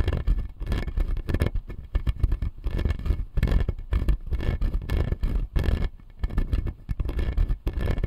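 Fingernails scratch and tap the blue plastic teeth on the lower jaw of a clear acrylic dental model. Dense, dry scraping and quick clicking taps come in bursts, heavy in low rumble with little brightness. Each tap stops almost at once with no ring.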